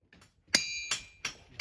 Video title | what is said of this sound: RINGING ROCKS of Montana: Making Music with Minerals! | bottom line these boulders make music